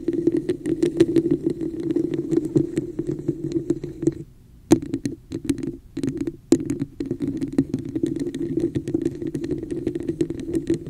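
Long acrylic nails rapidly tap and scratch the sides of a hollow, empty red plastic cup with a raised woven pattern, placed upside down over the microphone. Dense, crisp clicks and scrapes ring with a hollow, boxy resonance around 330 Hz. Near the middle, the sound drops into a brief quiet stretch with a few isolated taps before the busy tapping resumes.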